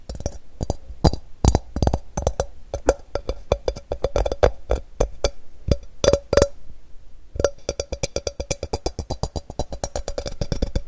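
A medium ceramic bowl with a rough crackle glaze, hollow and empty, is held upside down and tapped and scratched with fingertips and nails. Rapid, dry, woody-sounding taps carry a faint hollow tone near 500 Hz, with scratchy high detail and almost no ring. They pause briefly around the middle, then resume in a fast, steady flurry.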